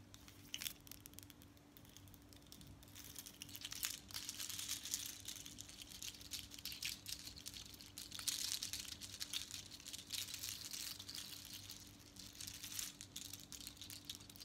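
Long acrylic nails tap and scratch a seashell bead necklace, two long strands of small hollow seashells with colored beads worn on the chest, and shake the strands so they rattle. The result is a dense, bright clicking and crinkly rattle that swells and fades over a faint steady low hum.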